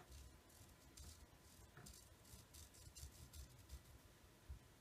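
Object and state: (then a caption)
Paracord-wrapped knife handle. Fingertips and nails scratch and pick at the green and black nylon paracord wrapped around the handle of a fixed-blade knife with a metal blade, held in the left hand. The result is a quiet, steady run of soft, bright scratchy rasps over a low rumble, with a few slightly louder plucks toward the end.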